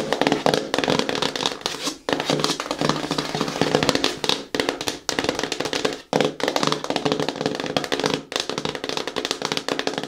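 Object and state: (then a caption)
Cardboard shoe box. Long nails rapidly tap and lightly scratch the top face of a medium-sized, hollow, closed black glossy cardboard shoe box marked KICKS. The result is a dense stream of crisp, dry clicks with a hollow mid-range body around 500 Hz and a bright scratchy edge. The tapping comes in bursts separated by brief pauses near 2, 4.5, 6 and 8.3 seconds.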